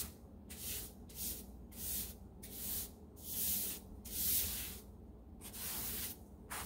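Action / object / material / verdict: scrape / ceramic tile floor swept with a plastic-bristle hand brush / ceramic / none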